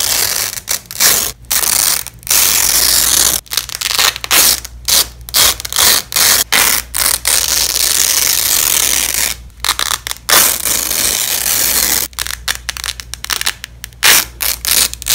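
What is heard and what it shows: Black-gloved hands peel apart fastened yellow and black nylon hook-and-loop (Velcro) strips, thin flat fabric tape lying on a bed sheet. Repeated bursts of crunchy, bright ripping come in short and longer pulls separated by brief pauses.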